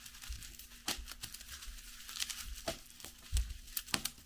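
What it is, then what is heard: Plastic bubble wrap sheet. A flat, clear plastic bubble wrap sheet lying on a cloth-covered table is pressed and tapped with fingertips and long yellow nails. The result is soft plastic crinkling broken by sharp, bright clicks and taps of varying loudness over a faint, steady low hum.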